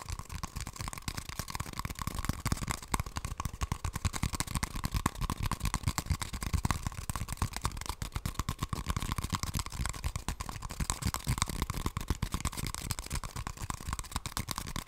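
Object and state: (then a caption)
Cardboard toilet paper tube. An empty, hollow brown cardboard toilet paper tube is held upright and tapped and scratched with long nails. The result is a dense stream of quick, dry, low thuds over scratchy rustling, with a faint steady tone running underneath.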